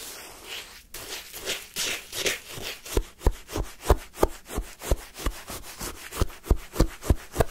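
A wooden spoon is pushed into pale yellow, crunchy lemon sherbet shaved ice in a paper cup and scraped up through it. Soft rubbing scrapes at first give way to a quick, fairly steady series of crisp, short crunches, roughly three per second, each with a bright icy edge.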